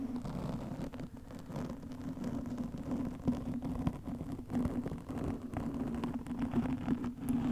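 Long nails scratch a black foam windscreen over a microphone, producing a steady, muffled scratching and rustling close to the mic. A low, dull hum-like band runs underneath throughout, with brief louder scrapes standing out now and then.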